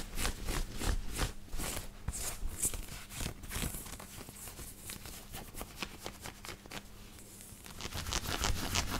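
Fingertips and nails scratch and rub the collar and chest of a white knit cotton t-shirt worn on the body. Quick, uneven scratchy strokes come about three per second, with bright crackling bursts over a soft low rumble. A faint steady hum sits underneath, and the strokes fade a little midway before growing louder again at the end.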